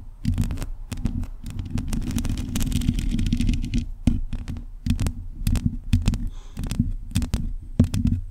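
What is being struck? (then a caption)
Metal mesh microphone grille. Long acrylic nails on both hands scratch the bare, hollow metal mesh grille of a black USB condenser microphone, which has no cover. The result is a dense, booming low rumble full of scraping, broken up by sharp clicks and taps that flash bright.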